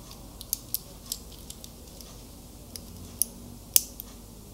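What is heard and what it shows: Fingertips and nails tap and click on the clasp and links of a small metal wristwatch with a link bracelet, held in both hands. About ten short, bright, dry clicks of varying strength stand out, spaced irregularly over a quiet, steady background hiss.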